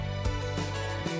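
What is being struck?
Nothing is struck.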